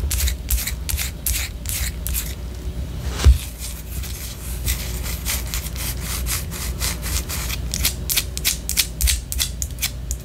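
A white solid wax pillar candle, held horizontally, is scratched with long orange nails. Quick, bright scratching strokes repeat over a steady low hum, with one louder knock partway through.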